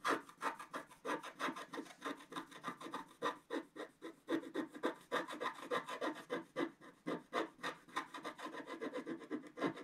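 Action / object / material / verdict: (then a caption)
scrape / wax-coated scratch art paper scraped with a wooden stylus / wax / none. A wooden stylus scrapes the coating at the lower left of a flat, wax-coated scratch art page. Dozens of quick, short scratching strokes come at an uneven rhythm of roughly three to four per second, each a dry, papery rasp with a midrange body and a bright hiss on top. The strokes stop almost instantly, with no ring.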